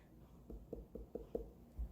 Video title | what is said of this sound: Harvesting watermelon E46S1 | you can hear how it's sort of hollow